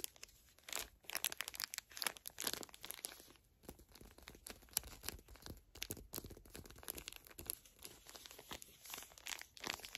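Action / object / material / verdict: scrape / pocket tissue pack in thin plastic wrapper / plastic film / none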